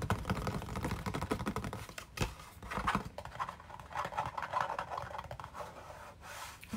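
A closed, medium-sized, printed orange-and-white cardboard box of Orange Burfee sweets is held in the hands and tapped and scratched with fingernails. Quick, dry clicks and rough scratching come in dense runs, with low hollow thumps underneath and a bright rasp in between.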